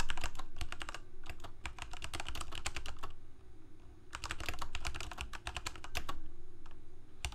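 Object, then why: Plastic mechanical keyboard. Both hands type rapidly with their fingertips on a full-size black plastic Corsair K68 mechanical keyboard with Cherry MX Red switches and blue backlit keycaps, resting on a white desk. Quick, bright, short clacks come in two dense bursts separated by a brief pause, over a steady low hum.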